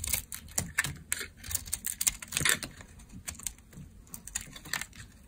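A utility knife blade shaves curls off a solid dark brown bar of dry laundry soap held in hand. Quick, crisp, bright scraping and crackling strokes come in an irregular run, each dry and short with no ring after it.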